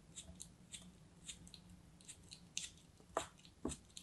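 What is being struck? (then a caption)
Packed kinetic sand block. A craft knife blade slices repeatedly through a hand-held solid block of packed green kinetic sand, producing short, crumbly, bright crunches at an uneven pace. The last few cuts are louder and fuller, over a faint steady low hum.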